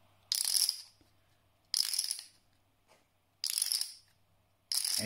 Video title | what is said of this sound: Chipisode #2 - Are Paulson Clay Poker Chips Worth the Money? - Poker Chip Vlog | this, ladies and gentlemen, is what a real clay poker chip should sound like. It's the quintessential clinking sound that you hear in poker rooms, casinos, big tournaments, and just have a listen.